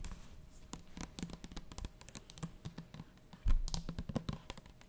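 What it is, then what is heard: Plastic bottle of liquid. Long nails tap rapidly and irregularly on the plastic body of a medium plastic bottle full of liquid, held in both hands. The dry, clicky taps die away almost instantly over a deep, dull body, with a louder, heavier thump midway through.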